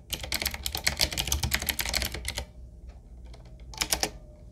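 Two hands type with their fingertips on a 7Keys retro typewriter-style mechanical keyboard with round black plastic keycaps on a wood-trimmed frame, while the mouse goes untouched. A rapid run of bright, crisp clacking keystrokes lasts about two and a half seconds over a low hum. After a quieter pause, a short final burst of keys follows.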